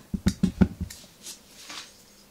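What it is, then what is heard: Frosted glass bottle tapped with nails. Long nails tap a medium white frosted OSEA glass skincare bottle with a silver pump top, held in one hand and apparently full. Five short, dull, low-pitched taps come in quick succession, each dying away almost at once. A faint soft hiss follows in the quieter second half.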